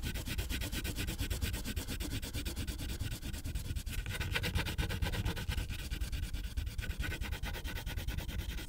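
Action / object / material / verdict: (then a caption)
scrape / wax crayon rubbing on a paper sheet / paper / none. A pink wax crayon is rubbed in fast, short strokes across a thin white paper coloring page on a clipboard, with the other hand resting nearby. The result is a steady, dense scratching and rubbing that runs the whole clip, with a low, papery rumble underneath and a bright hiss on top.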